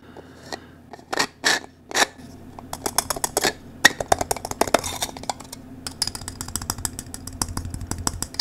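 A blue 3D-printed plastic cylinder puzzle with embossed ridges and lettering is held in both hands while fingers rub and twist its segments. Short bursts of bright, rasping scraping give way to a dense run of quick, dry clicks and ticks with almost no ring.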